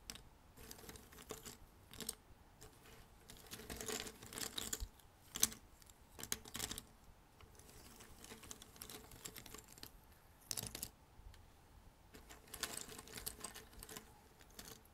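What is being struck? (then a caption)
Thin cardboard jigsaw puzzle pieces. Fingertips dig into a loose pile of thin cardboard jigsaw puzzle pieces on a red table, picking up and dropping pieces. The result is quiet, bright, clicky rustling with scattered light taps, rising into busier bursts of clattering pieces before settling back to soft shuffling.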